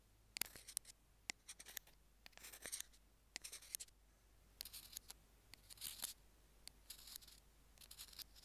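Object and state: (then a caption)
Plastic earphone remote. Metal tweezers tap and scratch along the small white plastic in-line mic remote of Apple earphones lying on a jade stone. The result is quiet, bright, crisp clicks and short rasping scratches with almost no ring, in irregular clusters over a faint low hum.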